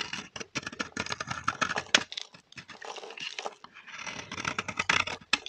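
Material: Soap.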